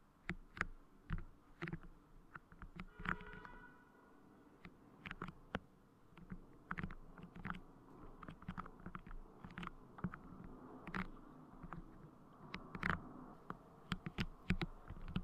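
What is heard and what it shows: Fingertips press, pinch and repeatedly tap soft, transparent clear putty clay covering the grille of a Blue Yeti microphone. The result is a close, bassy stream of short, sticky clicks and squishy taps that crackle brightly at the edges. Quieter squelching fills the gaps between them.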